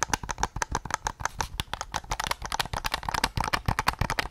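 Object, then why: Hard plastic game controller shell. Fingertips tap a hollow, white hard-plastic PS5 DualSense controller, first on its back shell and grips, then on the front near the recorder. The result is a quick, uneven run of short, dry plastic taps with a hollow knock around 1 kHz, bright clicky edges and soft low thumps, each dying away almost instantly.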